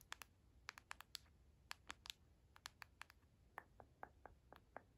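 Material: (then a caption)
Cardboard. Long acrylic nails tap and trace across a small, flat, dark cardboard box printed "PROTÉGÉ" with line-art faces, held in the hand and likely hollow. About 21 quiet, sharp, bright clicks come at an irregular pace, each dying away almost instantly, with faint scratchy tracing between them.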